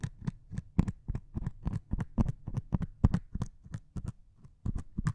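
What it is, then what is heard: Melamine foam sponge. A single metal needle held in the fingertips pokes and scratches a solid melamine foam sponge with a grey scouring foam top. The result is a rapid, uneven series of soft, dull, low-heavy taps, each with a brief bright scratchy edge, dying away almost instantly.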